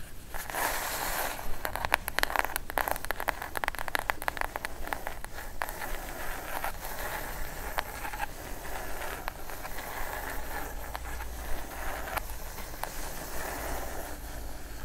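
Long acrylic nails tap and scratch along the top edge of a plain brown kraft cardboard box, which is hollow, closed and held upright. A dense burst of crisp, clicky taps comes early, then gives way to sparser taps and a steady dry, papery scratching against a low background rumble.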